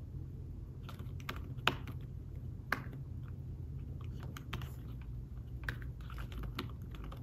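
Fingertips type on a thin folio tablet keyboard with fabric-covered keys, producing soft, muffled taps at an irregular pace. A couple of sharper, louder taps stand out among the quiet clicks, all over a steady low hum.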